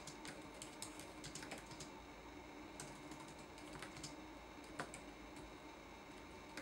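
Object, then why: Plastic laptop keyboard keys. Fingertips tap the plastic keycaps of a red-backlit laptop keyboard in a quiet, irregular stream of typing. Each press gives a soft, bright click with a short decay over a low, steady background hiss.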